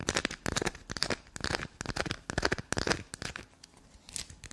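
Long black nails scratch fast across a small, solid piece of black soap held between the fingers and dig into it. The result is a rapid, irregular run of dry, crackly scraping bursts with bright, crunchy texture and quick pauses between strokes.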